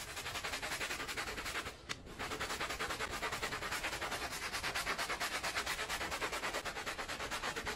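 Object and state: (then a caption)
Woven fabric rug being scrubbed. A small, dirty, patterned woven fabric rug with fringes lies flat on a soapy floor, wet and covered in foam, and is scrubbed back and forth with a handheld plastic bristle brush. Steady, rapid, bright scratchy strokes repeat about three times per second, with a short pause just before the two-second mark before the scrubbing resumes at the same pace.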